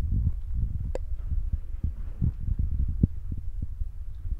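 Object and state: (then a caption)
Foam microphone windscreen. Fingertips with short nails tap rapidly and repeatedly on a soft, spongy black foam windscreen covering the mic of a handheld Zoom recorder. The result is a steady stream of muffled, deep thumps with almost no high end, like a soft throbbing heartbeat. One brighter, crisper tick stands out near the start.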